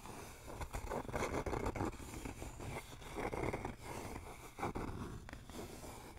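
A flat, rectangular wooden sign with RELAX lettering, a solid thin board held upright, is tapped and scratched with fingertips and nails. Soft, dry scratching swells and fades in waves over low, dull taps, with little ring after each touch.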